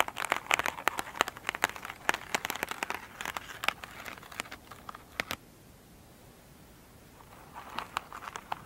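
Long pointed nails scratch and tap an elongated oval foam sponge with a soft, solid, glittery surface as it lies on a table. Quick, dry, bright crackling taps and scratches come in a dense run for about five seconds. After a near-silent pause, a few softer scratches resume at the end.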